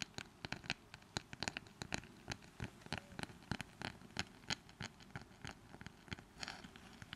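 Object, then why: Small wooden brush with handle. Long manicured nails quickly scratch and tap the wooden surface of a small, light wooden brush with a long flat wooden handle, held close to the mics. Dozens of quick, dry, bright clicks and taps come in an uneven patter with soft scratching between them, each dying away almost at once.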